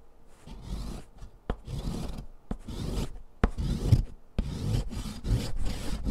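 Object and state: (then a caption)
Sidewalk chalk grated on a metal foot-file rasp. A thick, solid green sidewalk chalk stick is grated by hand across the metal rasp of a purple foot file, with green powder falling onto cardboard. Repeated low, gritty rasping strokes scrape back and forth, with brief sharp clicks between some of the strokes.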